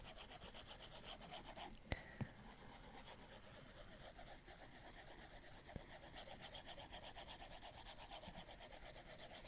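The plastic tip of an Apple Pencil is rubbed in fast, textured shading strokes across the glass screen of a large iPad Pro. It makes a steady, rhythmic rasping rub on the glass, broken by three sharp tip clicks.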